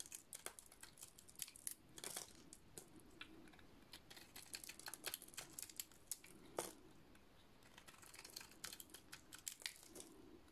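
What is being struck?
Painted soap bar shaved with a metal blade.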